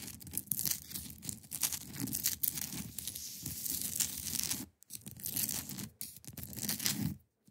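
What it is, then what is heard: Ice block. Long pointed nails scratch across the top of a large, solid, clear ice block resting on a fabric surface. The result is a steady run of bright, gritty rasps with a soft low rumble underneath. The scratching breaks off briefly near 4.8 and 6 seconds, then stops at the end.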